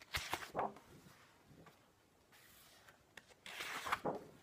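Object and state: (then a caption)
Paper book pages being turned. Fingertips flip and smooth the thin paper text pages of a large book lying open on a wooden table. Crisp, bright rustles and papery crackles come in bursts at the start and again near the end, with a quiet stretch of faint hiss and soft brushing between them.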